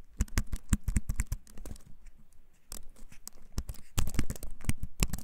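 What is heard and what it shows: A compact, solid-bodied wooden-framed computer keyboard, held up in both hands, is typed on with the fingertips in a continuous run of taps. The clicks are short, dull and bass-heavy, dying out almost at once. The taps thin out briefly near the middle, then return more densely and louder toward the end.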